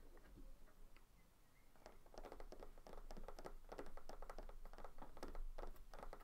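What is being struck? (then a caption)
Small terracotta clay flower pot. Fingertips of both hands tap and scratch the outer rim and sides of a small terracotta clay flower pot filled with soil, standing on a white table. After a quiet, faint opening, rapid, irregular soft taps and scratchy clicks build up, each short and dry with bright edges, over a steady low rumble.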